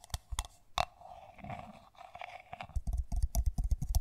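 Long nails tap and scratch the outside wall of a hollow, pink matte ceramic mug with lettering, held in the hands. Sharp, bright clicks with a short ringing tone open the clip, then a soft scratching passage follows, ending in a quicker run of irregular taps with dull low thumps. The sound is quiet and close.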